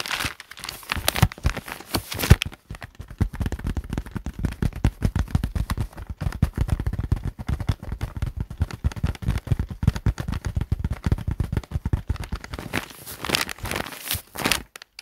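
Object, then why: Thick paper notebook with cardboard cover. Both hands tap and drum their fingertips on the green cardboard cover of a large, thick, solid paper notebook lying closed on a desk mat. A rapid, dense patter of soft, low, dull thuds runs throughout, with brighter papery crinkling bursts at the start and near the end. Each tap dies away almost instantly with no ring.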